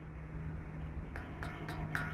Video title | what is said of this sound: Crazy Gold Miner | do you hear that it rings